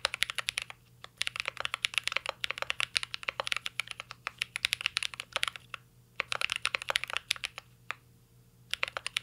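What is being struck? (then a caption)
Mechanical keyboard, plastic keycaps in an aluminium case. A mint-green Cyberboard R3 mechanical keyboard with plastic keycaps and an aluminum case is typed on continuously by fingertips. Bright, crisp key clacks come in rapid bursts, with short pauses near 1, 6 and 8.5 seconds. Each click is dry with almost no ring.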